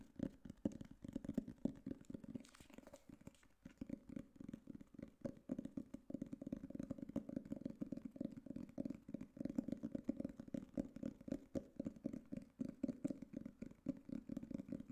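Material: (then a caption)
Cardboard. A black hardcover book with a solid board cover is tapped and scratched with fingertips and nails. Quiet, fast, dense taps with short dry thuds and a low-mid hollow tone are mixed with soft scratching that continues steadily for fifteen seconds.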